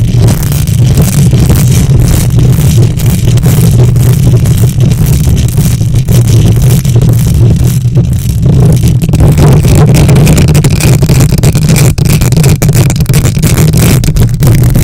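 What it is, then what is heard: Metal microphone grille being scratched. Long nails on both hands scratch the hollow metal mesh grille of a silver condenser microphone. The result is a loud, continuous, booming rumble concentrated in the low end around 125 Hz, with dense scraping texture and almost no high or bright content.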